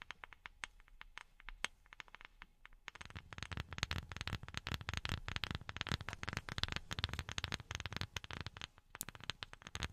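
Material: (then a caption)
Wood. A wooden object is tapped with silicone rubber pads worn on the fingertips. Sparse, dry taps in the first few seconds give way to a dense, rapid flurry of tapping. Each tap is a short click with a low thud and a bright edge, and no ring.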